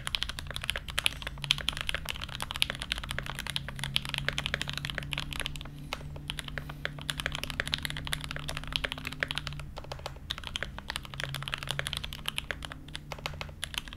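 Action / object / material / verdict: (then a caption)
tap / mechanical keyboard with ABS keycaps and a brass plate / brass, ABS plastic / none. An SG81M mechanical keyboard with blue GMK ABS keycaps, a brass plate and Everglide Aqua Kings linear switches sits on a desk mat while both hands type continuously with the fingertips. The result is a fast, steady stream of short, bright key clacks that die away almost instantly, over a faint low hum.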